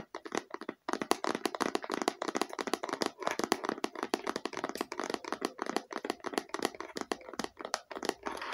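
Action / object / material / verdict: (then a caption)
tap / faux leather eyeglasses case / faux leather / none. A small, hollow, red stitched faux leather eyeglasses case is turned in the hands while long nails tap and scratch across it. The result is a rapid, steady stream of short, dry, crisp clicks and scratches with almost no ring, centred in the low mids and with little bass.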